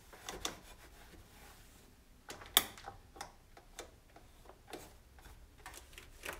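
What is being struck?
Plastic stove control panel and knobs.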